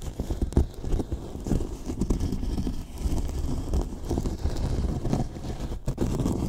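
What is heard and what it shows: The fingertips of one hand scratch and tap along the top edge of a large, hollow, white polyethylene foam box. The result is a steady stream of dull, low, muffled scraping and soft knocks with very little brightness, each tap dying away almost at once.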